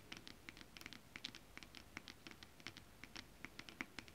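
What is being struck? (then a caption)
Foil-coated stretch fabric with scale print. Long acrylic nails on both hands scratch across a flat piece of iridescent, foil-coated, scale-print holographic mermaid stretch fabric. The result is a quiet, quick patter of short, bright, crisp ticks and scrapes that die away almost instantly, over a faint low rustle.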